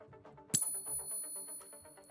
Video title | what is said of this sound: LIVE: 2026 First Silver & Gold Trade – Bankers Ready to Nuke Again? 💥💰 | That's the sound of real money. That was a silver ping test.